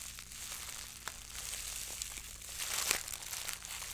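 A fist-sized, loosely balled wad of clear plastic cling film, soft and hollow with air pockets, is held in both hands and squeezed, crumpled and rubbed with fingertips and long acrylic French-tip nails. The result is a continuous bright, high crinkling and crackling with a few sharper snaps, swelling louder near the end.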